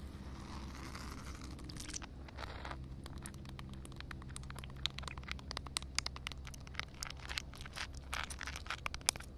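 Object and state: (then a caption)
Wet concrete slab. Long painted nails scratch and tap across a large, flat, solid outdoor concrete slab covered with a thin layer of water, producing many sharp, bright, clicky taps and wet scraping. A steady low rumble of outdoor ambience runs underneath throughout.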